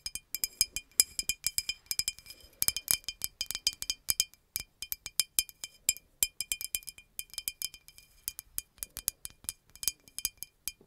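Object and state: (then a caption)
Glass bottle tapped with fingernails. Long nails tap rapidly along a hollow green glass bottle with a red cap. The result is a quick, uneven series of sharp, bright clinks with faint high glassy ringing that dies almost instantly, with almost no low end.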